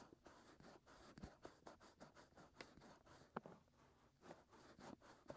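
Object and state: Silicone microphone ear being scratched.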